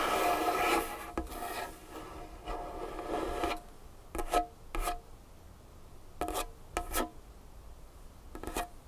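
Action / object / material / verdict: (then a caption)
scrape / wooden tabletop scratched with fingernails / wood / none. Long fingernails scratch and rub across a large, solid, dark-wood tabletop. About three and a half seconds of continuous rasping with a faint hollow tone is followed by short, separate scratching strokes. The strokes carry bright, scraping detail with little low end.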